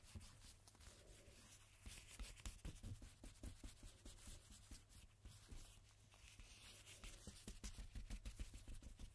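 A cotton swab held in a red-gloved hand rubs a single thin coated-cardstock playing card lying face up and flat on a dark table, while a blue-gloved hand steadies it. Quiet, dry scratchy strokes brush back and forth at an uneven pace over a steady low hum.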